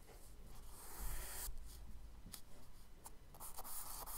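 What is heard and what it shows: A charcoal stick scratches quick, short strokes across a page of a spiral kraft paper sketchbook. Dry, scratchy rasping comes in bursts, with brief bright scrapes between the longer drawn strokes, over a low, steady hum.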